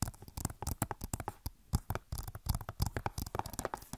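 Long nails tap rapidly on the back of a hollow plastic Overwatch game case, about 25 quick taps in uneven bursts. Each tap is a short, dry click with a low, hollow knock underneath and almost no ring.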